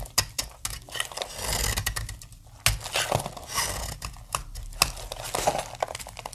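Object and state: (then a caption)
Dry soap bar being cut. A utility-knife blade cuts chalky, brittle flakes from one end of a hand-held, palm-sized, solid opaque pink dry soap bar. Quick dry scraping cuts and crisp crackles keep coming with short pauses between them, bright and crumbly with a little low thud underneath. A few sharper snaps stand out.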